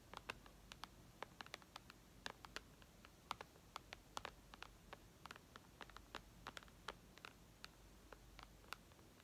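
Long red nails from both hands tap and lightly scratch the glass screen of a flat white iPad. Many sharp, brief clicks with a bright ring sound over a faint hiss in an irregular, pattering rhythm. Soft scratching is heard between the taps.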